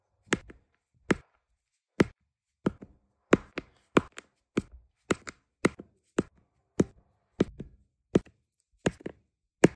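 An applicator pen with a metal tip taps small, solid, round resin diamond painting drills in many colours down onto a sticky adhesive canvas. There are 19 short, dry clicking taps at an uneven pace, each sharp with a bright edge and almost no ring.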